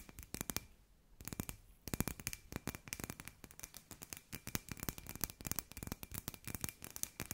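Long nails tap rapidly on a hand-sized hollow glass sphere with fairy lights inside, making a dense stream of short, dry, bright clicks with brief pauses near the one-second mark. A faint steady tone sits under the tapping throughout.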